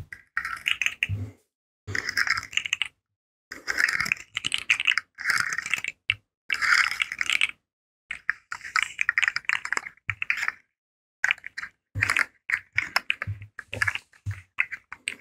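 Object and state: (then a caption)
Plastic articulated fidget slug. A rainbow, segmented, hollow plastic articulated fidget slug is bent and twisted in the hands, so its joints ratchet and click while fingertips rub the segments. Bursts of dense, bright clicking and rattling come in short clusters separated by brief silences, with a crisp midrange and little low end.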